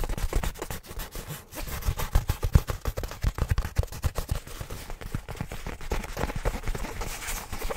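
Fingertips of both hands tap and scratch the surface of a black nylon fabric bag held in front of a microphone. Rapid, irregular soft thumps with a dull, bass-heavy body mix with scratchy, papery rustling. Each tap stops short with no ring.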